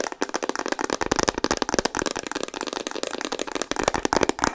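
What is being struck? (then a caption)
Plastic instant camera body. Long nails tap rapidly on a hollow pink Instax Mini plastic instant camera. The result is a dense, continuous run of dry, clicky plastic taps centred in the mids with very little low end, each tap dying away almost instantly.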